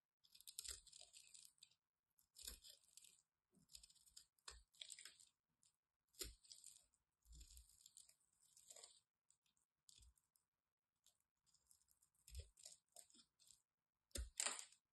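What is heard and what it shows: A solid white bar of soap held in the hand has its edge carved with a craft knife, sending flakes falling. Bursts of crisp, bright scraping and crunching come in short clusters with brief pauses between them, and some strokes carry soft low thuds.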